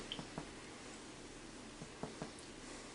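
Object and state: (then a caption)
Baked bread loaf, hollow (done). A freshly baked homemade bread loaf, turned out of its pan and held upside down in a towel, is tapped lightly on the bottom. A few soft, dull, hollow-sounding thumps are heard. The hollow sound shows the bread is done.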